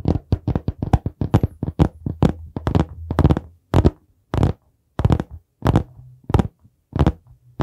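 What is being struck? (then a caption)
Hardcover notebook with board cover. Fingertips tap and knock quickly on the solid board cover of a dark brown hardcover notebook held in both hands close to the mic. The result is a dense, irregular run of short, dull, low thuds that die away almost instantly. The tapping loosens later into sparser knocks with brief silences between them.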